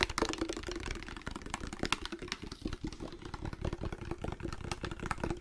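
A hand-sized amber glass spray bottle with a black trigger nozzle, partly filled with liquid, is held close and tapped rapidly with fingertips and nails. A fast, dense stream of sharp, dry clicks and taps rattles over a low rumbling undertone, each tap dying away almost instantly.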